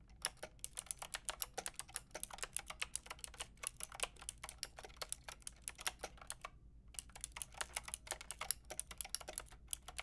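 Fingertips with long red nails type rapidly on a Lofree mechanical keyboard with a white translucent plastic case and round pink and grey plastic keycaps, its hollow body resting on faux fur. Dozens of short, bright plastic clicks and clacks follow each other with almost no ring, with a brief pause before the typing resumes, over a faint low hum.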